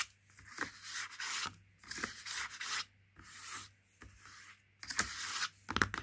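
Fingertips rub and scratch along the side panel of a Princes cardboard juice carton that has been turned over. The result is a series of dry, bright, papery scraping bursts separated by short quiet gaps, over a faint low hum.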